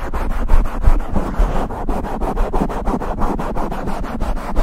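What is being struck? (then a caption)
Open-cell foam microphone windscreen. Fingertips and palms rub and scratch directly on a soft black open-cell foam windscreen fitted over a silver Blue Yeti microphone, covering the mic capsule. The result is a close, muffled run of quick, uneven scratchy strokes with a heavy low rumble and little high-end content.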